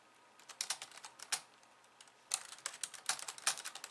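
Long painted nails on both hands type fast on a pink low-profile plastic keyboard with white keys resting on a wooden desk. Quick bursts of bright, dry clacks die away almost instantly, with a short pause in the middle before the rapid typing resumes.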